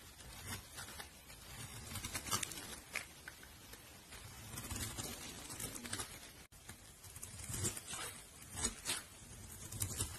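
A metal blade shaves curls off the top of a solid, palm-sized, opaque pink soap bar with a red rim, held in the hand. Soft, crisp scraping and patter rise and fall in a series of uneven strokes, with bright edges and a little low rumble underneath.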